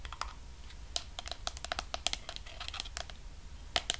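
Fingertips and nails tap and scratch along the sides and white screw lid of a medium pink plastic Sol de Janeiro body cream jar with a wrapped label, held in one hand and likely full. The result is a rapid, irregular series of sharp, bright clicks and light scratches that die away almost instantly, over a faint low background rumble.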